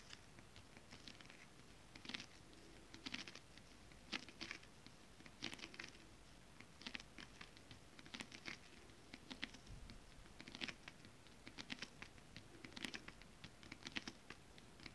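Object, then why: Scale-printed stretch fabric tapped with long acrylic nails. Long acrylic nails with rhinestones tap with both hands on a flat sheet of shiny holographic mermaid-scale-printed stretch fabric lying on a table. The result is quiet, crisp, bright clicks and light scratchy patters that come in irregular bursts over a soft hiss, with each tap dying away almost instantly.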